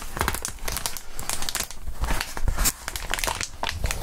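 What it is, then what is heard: Plastic bubble wrap. A crumpled ball of clear plastic bubble wrap with air-filled bubbles is squeezed and crinkled by gloved hands with bare fingertips. The result is a dense, continuous stream of crackling crinkles and sharp little snaps, bright on top with a soft low rumble underneath, rising and falling in bursts as the wrap is worked.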